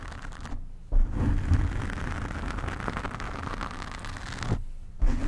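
Long painted nails of both hands scratch and rub a large, soft, porous black foam windscreen over a condenser microphone. The result is a dense, muffled, low rumbling scratch that is mostly bass with little brightness. It drops out briefly twice before resuming.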